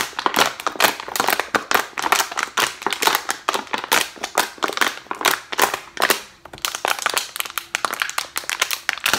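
A clear, thin plastic water bottle with a white cap and green label, hollow and mostly empty, is held in both hands and squeezed and crushed by the fingers. It produces a dense, irregular run of sharp crinkles and pops with bright, crackling highs and almost no low end, each snap dying away quickly.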